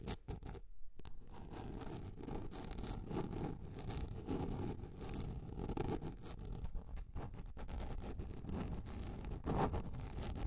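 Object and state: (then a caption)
Plastic container lid. Long red nails scratch and tap across the surface of a large, round, yellow plastic container lid that is held upright, flat on top and hollow underneath. The sound is a steady, low, dense rustling scrape with rapid tapping mixed through it, continuing for about ten seconds with only a brief dip near the start.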